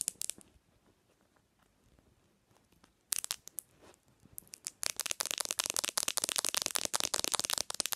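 Long nails tap the glass screen of a black smartphone resting on a pillow. A few bright taps open the clip, followed by a quiet stretch, then a sudden burst of clicks. From about five seconds on, the taps become fast, dense and crisp, each one short and high-pitched.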